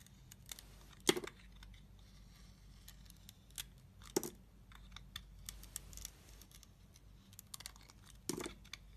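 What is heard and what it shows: A steel utility knife blade shaves and carves slices off a solid, hand-sized red bar of soap with a glitter coating and a cream-coloured core, held in the hand. Quiet, dry scraping and crisp cutting sounds with bright, short crackles run throughout. Three louder, sharper cuts stand out against a low steady background hum.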